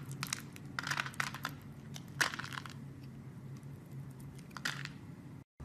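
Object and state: Soap bar being carved.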